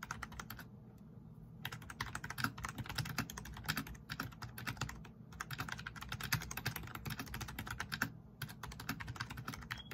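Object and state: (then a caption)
Plastic membrane keyboard, fast typing. Both hands type fast with their fingertips on a black plastic backlit RGB membrane keyboard, pressing the plastic keycaps. Dense runs of short, dry, bright clicks rattle on, broken by brief pauses near the start, middle and end, over a steady low hum.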